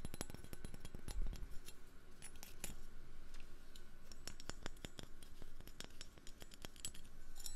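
A metal fork is tapped in a rapid, uneven series of short, sharp clicks and light clinks with almost no ring. The taps continue steadily throughout over a faint low background hum.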